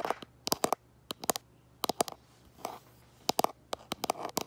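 Fingernails tap and scratch the back of a hand-held smartphone in a plastic case. Quick, bright clicky taps come in short clusters, broken up by softer, rustling scratches.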